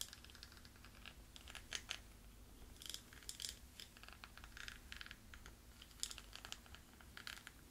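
A wooden pencil taps and scratches across a small, round, hollow jewelry box covered in gold beads and rhinestones, held in one hand. It makes quiet, bright, clicky taps and gritty scratching rattles that stop short with no ring, over a steady low hum.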